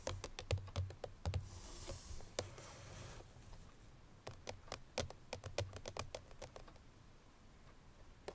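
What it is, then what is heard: Cardboard perfume box. Fingertips and natural nails of both hands tap rapidly on the lid of a small cream Chloé eau de parfum cardboard box (30 ml), likely still holding its bottle, lying flat on a grey surface. Quick, irregular clicky taps with short dull low thuds come in bursts, with a brief soft high hiss early on. Each tap dies away almost at once.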